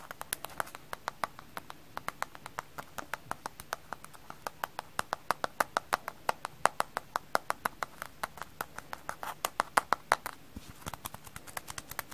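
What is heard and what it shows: A kitchen sponge frozen solid is tapped in a quick, steady run of about 76 hard, dry clicks over twelve seconds. Each tap is a short, sharp click with a clip-clop-like knock that dies away almost at once, with little low end.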